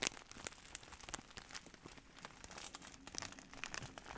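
A large, clear plastic bag of bubble wrap, hollow and soft, is held upright in both hands while the fingers squeeze and rub it. The plastic gives off a steady run of quiet, bright crinkles and crackles, with sharp little snaps scattered throughout and almost no low end.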